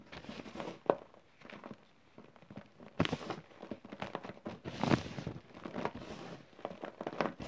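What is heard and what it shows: Bare fingertips rake, squeeze and crumble a loose pile of fine green powdery chalk and cornstarch mix with small crumbly clumps on a flat surface. Quiet, dry crunching and crinkling crackles come in irregular bursts, with a near-silent pause partway through before the crumbling picks up again. Each crackle stops almost instantly, leaving no ring.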